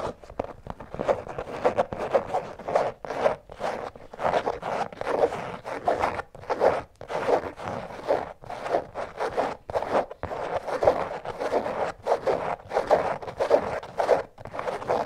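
Long nails scratch the canvas upper of an empty checkered canvas slip-on shoe with a rubber sole, lying on its side. The result is a steady series of quick, dry, rasping strokes, like a zipper, centered in the midrange around 500 Hz, with brief gaps between bursts.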